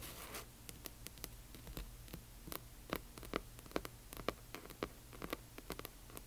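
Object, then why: Glossy hardcover book cover tapped and scratched with fingernails. Long nails tap and scratch across the front of a large hardcover book with a glossy cover. A short scratchy brush opens into a quick, uneven run of sharp, dry clicks, each ringing only briefly, over a faint steady low hum.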